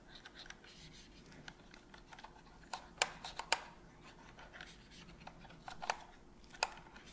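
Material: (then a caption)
Plastic. A cotton swab held in gloved hands scratches and rubs inside the gap around the black trigger of a hollow white plastic PS5 controller. Soft, dry scraping is broken by irregular sharp, bright clicks and ticks with almost no ring, with the loudest hits standing out about a dozen times across the clip.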